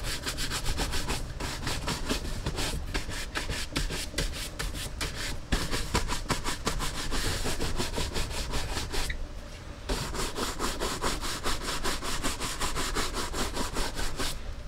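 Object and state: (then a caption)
Leather cowboy boot being brushed. A horsehair brush rubs and brushes the leather upper of a brown leather Lucchese cowboy boot, which hangs hollow and empty on a wall rack while the other hand steadies it. Quick, rhythmic back-and-forth strokes make bright, scratchy bristle swishes over a low, hollow rumble from the boot. The brushing pauses briefly around the nine-second mark before resuming at the same steady pace.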